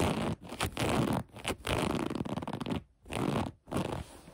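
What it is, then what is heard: Cotton sweatpants waistband scratched. Long nails scratch the light gray cotton elastic waistband and fabric of a pair of sweatpants. Rough, close, broadband rasping strokes come in bursts separated by brief quiet gaps, with a soft low rumble under the scratching.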